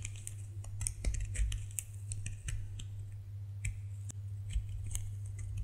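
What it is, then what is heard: Bar of soap scratched with nails. Fingernails scratch and scrape a solid white bar of soap, making a quick run of short, crisp, bright scratching clicks. The clicks sit over a steady low hum throughout.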